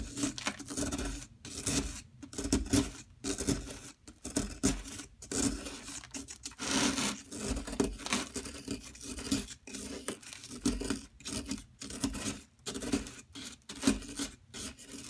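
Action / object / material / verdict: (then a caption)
scrape / plaster block / plaster / none. A large solid block of soft yellow plaster from a dig kit, held in a hand with long metallic nails, is scraped with a metal pick. The clip is a steady series of short, gritty scrapes and rasps, each with a bright, crumbly texture, separated by brief pauses. The scraping crumbles the block into a pile of chips and powder.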